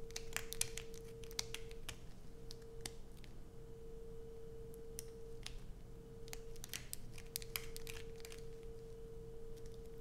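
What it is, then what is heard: Bar of soap scratched with nails. A solid blue bar of soap, held in both hands, is scratched and dug into by long acrylic nails. Quick, sharp scratchy clicks and scrapes break out irregularly over a steady low hum and a constant faint mid-pitched tone.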